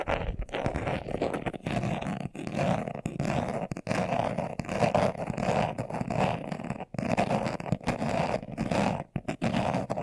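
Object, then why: Leather-covered glasses case. A hand-sized, hollow, closed glasses case covered in brown leather is held in both hands while its surface is scratched fast with short nails and fingertips. The result is dense, continuous, rapid scratching with a muffled, hollow mid-range tone and little brightness, broken only by a few brief pauses.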